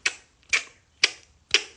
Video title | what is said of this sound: WHEN CAN I REDO THE NANOPLASTY ON MY CLIENT´S HAIR? - SOS FLORA | it needs to make that sound that the hair has product